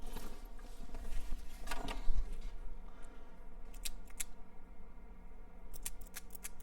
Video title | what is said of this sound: Grand Prix Fuel pt 2 | hear it being able to flick back and forth